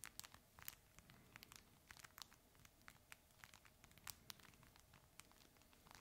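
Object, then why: Fabric plush toy with crinkle material inside. A red, chip-bag-shaped plush dog toy made of fabric with crinkle material inside is held in both hands and squeezed and scratched with the fingertips. Quiet, bright crinkling and crackling comes as a steady run of short, sharp snaps with almost no ring, over a faint low background.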